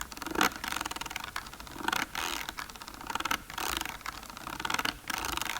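Fast tapping and scratching along the ridged, bumpy sides of a plastic container, producing a rapid, dry rattling texture. The sound comes in repeated bursts of quick clicks and scrapes, bright and crisp with little low end, each hit dying away almost instantly.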